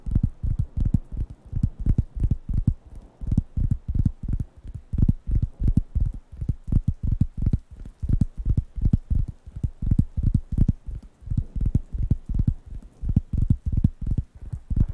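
Fingertips tap and scratch the solid, flat surface of a large, thin, round light-brown wooden coaster pad held in one hand near the microphones. The result is a fast, uneven stream of soft, deep, dull thumps with almost no ring, arriving in clustered bursts with faint brighter scratchy edges.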